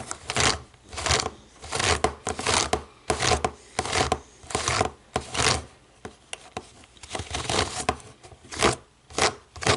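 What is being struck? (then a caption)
Plastic remote control with rubber buttons. Long nails tap the rubber buttons of a small, hollow black plastic DVD remote control resting on a wooden table. The result is an irregular run of short, dry, clicky taps with a bright edge and almost no ring, sometimes in quick clusters and sometimes spaced apart.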